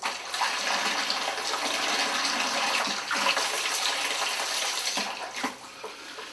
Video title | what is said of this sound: Terry Hearn's Quest For Blackeye Part-7 | the longer you shake it obviously you'll hear the salt go quite and quiet it's all dissolved into the liquid